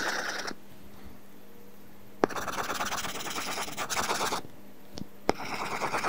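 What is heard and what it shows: A stylus scratches back and forth in shading strokes across an iPad's flat glass screen covered with a matte, paper-feel plastic film. Bursts of dry, bright, rapid scraping alternate with quiet pauses, and two sharp taps mark where the stylus lands on the screen before each new run of strokes.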